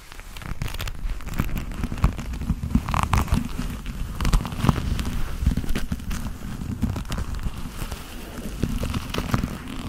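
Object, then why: Leather gloves. Black leather gloves worn on the hands are rubbed palm against palm and finger against finger. The result is a continuous, dense crackling and creaking rustle, mostly low and muffled, with brief brighter scratchy bursts scattered throughout.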